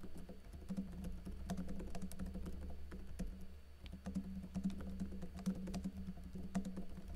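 Fingertips with blue-painted nails type continuously on a plastic backlit laptop keyboard with plastic keycaps and a teal backlight, tapping the keys. The clip is a rapid, uneven stream of soft, short clicks and taps over a steady low hum.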